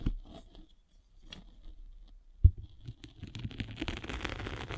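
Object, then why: Abrasive foam sanding sponge rolled with a spiked roller. A derma roller with metal spikes is rolled across the gray abrasive face of a flat rectangular foam sanding sponge with a blue foam core, held in one hand. Faint, sparse scratching and a single sharp low knock give way to a denser, continuous gritty crackle as the spikes rasp over the surface.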